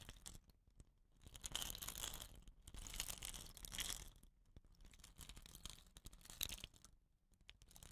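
Fingers rub and scratch the woven rattan cap on the end of a hollow, painted bamboo rain stick and tilt the tube. Dry, bright scratching and crackly rustling come in soft swells that rise and fade, with brief quiet gaps between bursts.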